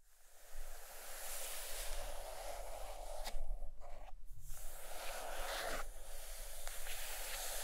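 Long green-painted nails scratch and tap the glossy cover of a large, solid purple hardcover book of Bidstrup drawings lying on a fluffy blanket. Steady, soft scratching fills the clip, with a low hum underneath and a brief quiet dip around the middle.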